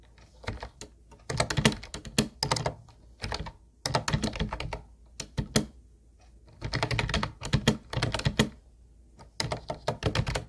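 Fingertips of both hands type on a teal Ubotie plastic keyboard with round white plastic keys, which sounds hollow. Quick bursts of clacky keystrokes with a deep, thunky body come in runs separated by short pauses, each click dying away almost at once.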